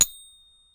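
A one-ounce gold bullion coin is given a very soft tap for a ping test used to check whether the coin is legitimate. It gives a single clear, high ding with bright tones around 3.7 kHz that fade out over less than a second.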